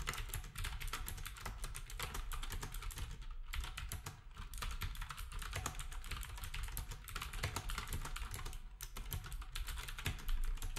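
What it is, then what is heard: Plastic keyboard being typed on. Fingertips type steadily on a black compact plastic typewriter-style keyboard with round plastic keycaps. The result is a rapid, continuous stream of short, bright clacks over a low thudding base, with brief pauses near 3.5 and 8.8 seconds.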